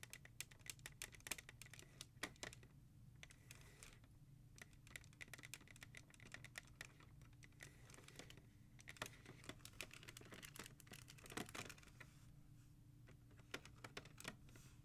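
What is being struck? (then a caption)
Plastic CD jewel cases in a rack. Both hands tap fast with long nails and fingertips on the spines of a row of hard plastic CD jewel cases in a black holder. The result is a dense stream of sharp, bright clicks that stop almost instantly, with a few louder taps standing out over a steady low hum.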